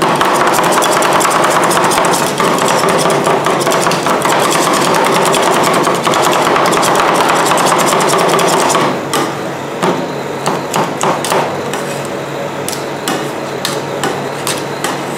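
Two metal spatulas held in fists strike down again and again on a large, round, flat, solid stainless steel cold plate, chopping through frozen ice cream with Nutella and Filipinos cookies. For about nine seconds the taps come fast and dense with a bright metallic clatter around 1 kHz. Then they thin out into sparser, slightly quieter knocks and scrapes.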